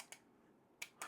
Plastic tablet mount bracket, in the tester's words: If I tap the sound on it, you can tell it's relatively sol solid